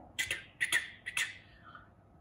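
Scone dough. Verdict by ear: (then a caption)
Not hollow. Fingers tap six times on top of an unbaked scone before it goes into the oven. The taps are short, soft, and dull, with no ringing. The raw scone does not give the hollow sound of a cooked one.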